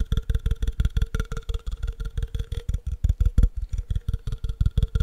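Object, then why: Glass jar. Fingernails rapidly tap and scratch along the side of a clear, empty, hollow cylindrical glass jar held sideways. About 25 quick, dull knocks sound in a fast, uneven rhythm, each carrying a faint glassy ring around 450 Hz and 1.4 kHz that fades almost instantly.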